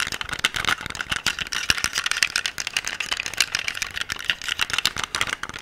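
A solid black metal pistol is held upright close to the microphone while nails and fingertips tap and scratch its grip and slide. Quick, dry, bright clicks and scrapes come in a dense, steady stream, with the gun's parts rattling faintly and almost no low-end body.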